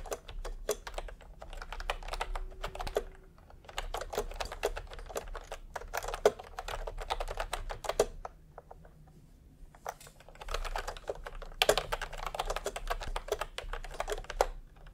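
Bare fingertips of both hands type fast on a full-size pastel plastic retro keyboard with round plastic typewriter-style keycaps, resting on white fabric. Rapid, short, clacky key presses come in dense bursts, with brief pauses near 3.5 and 9 seconds. A faint low hum runs underneath.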